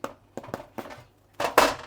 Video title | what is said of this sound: Awesome bean burgers judys happy food | tap the bottom it should sound hollow